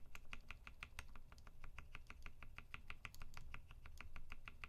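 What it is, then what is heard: Mechanical keyboard, key-by-key switch test. One finger presses keys one at a time on the right side of a UTD 360C tenkeyless mechanical keyboard with a gummy-worm mount, Vintage Black switches lubed with 205g0 and filmed, white PBT keycaps and a silver aluminum case. About thirty short, sharp clacks come in a steady, quick run, each a crisp click centered in the low-mid to mid range with a bright top edge. A constant low rumble sits underneath the whole run.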